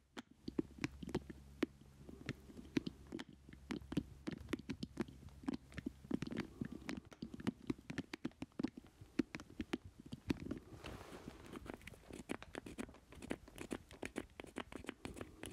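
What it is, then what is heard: Plastic joystick controller. A small hollow black plastic joystick controller is held up and turned in both hands while fingertips and nails tap and scratch its ridged base and casing. Rapid, dry, clicky taps with almost no ring run throughout, over a soft low hum in the first half and a hissy scratching texture later.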